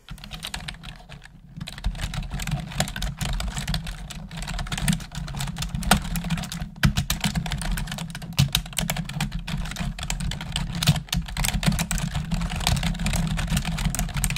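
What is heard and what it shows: Long acrylic nails and fingertips type rapidly on a full-size black plastic computer keyboard with mechanical-style keys and a hollow housing, resting on a desk. Dense, bright clicking taps run continuously over a steady low rumble, with a brief lull near the start.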